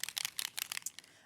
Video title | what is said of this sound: 23/09/2024 - Add Some Sparkle, Personal Impressions, American Crafts, Zieler & HM Deals | you'll hear the ball bearing start to wiggle about and that will get it moving get that mixed in